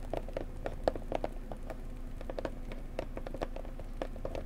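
Long nails tap and scratch-tap on the sides and front of a blue floral cardboard gift box. The result is a quick, irregular patter of soft, dry clicks with a faint hollow tone around 530 Hz, each dying away almost at once over a steady low rumble.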